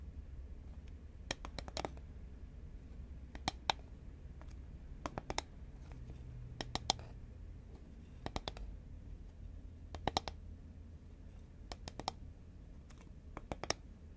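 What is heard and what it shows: A hollow green Pringles paperboard chip tube, held horizontally, is tapped with long nails. Quick clusters of sharp, dry clicks with a hollow mid tone and a bright edge stop almost instantly, separated by short pauses over a steady low rumble.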